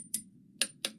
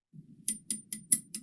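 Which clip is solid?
The second.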